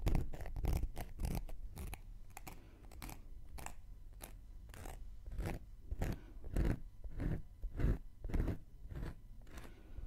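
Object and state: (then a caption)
Cork coaster being scratched. A round, flat, solid cork coaster held in one hand has its surface scratched with a thin wooden knitting needle. The result is a quick series of short, dry scratching strokes at an uneven pace, each a broadband rasp with a low, soft body and faint bright edges.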